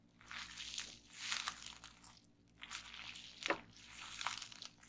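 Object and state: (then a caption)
Plastic bubble wrap being popped. A flat, layered sheet of clear plastic bubble wrap on a table is pressed and popped by the fingertips and long painted nails of both hands. The result is bursts of bright, crinkling crunches and sharp little pops, with quiet gaps between them.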